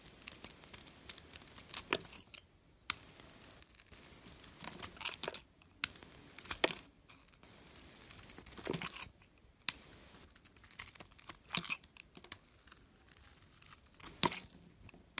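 A blade scrapes curls off a hand-held solid bar of soap with a silver glitter coating over a white core. Bright, crisp scraping and crackling strokes come in short bursts separated by brief quiet gaps, with sharp ticks at the start of some strokes.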